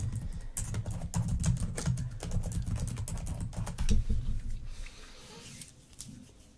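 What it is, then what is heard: Plastic laptop keyboard. Long acrylic nails and fingertips type and tap on the plastic keys and touchpad of a black laptop resting on a fur rug. Dense, irregular clicks with bright ticks over a heavy low thud fill the first five seconds, then thin out into softer, sparser taps.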